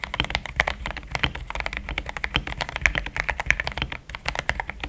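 Fingertips of both hands type steadily on a compact pink-and-cream plastic mechanical keyboard with thick XDA-profile keycaps, Gateron Yellow switches and a polycarbonate plate, sitting on a desk mat. A quick, continuous stream of crisp keystrokes centers around 2 kHz, with bright clacks and a soft low thump under them. Each stroke dies away almost instantly.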